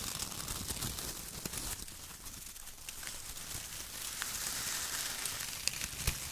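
Hands crumple bunches of shredded brown kraft paper strips lying in a loose pile, then press and rub the pile with their fingertips. The result is a bright, dry crinkling and tearing-like rustle with scattered sharp crackles.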